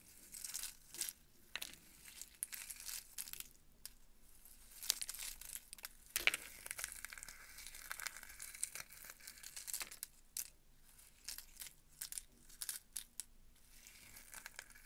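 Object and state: Roasted pumpkin seeds, dry and crisp.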